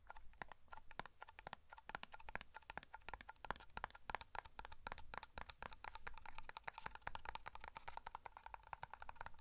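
Fingertips and nails tap rapidly on the lid and side of a small black matte metal hair cream tin. The result is a dense, steady stream of short, dry clicks with a bright metallic ping around 860 Hz and almost no ring after each tap.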